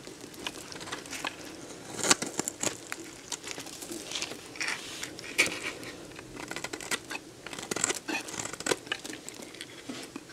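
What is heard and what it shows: A metal box-cutter blade scrapes and slices crunchy chunks off a solid, dried yellow bar of soap held in the hand. The result is dense, bright, crisp crackling and crunching, with a steady scraping texture broken by sharper, louder snaps as pieces break away.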